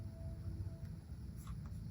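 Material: Nothing is struck.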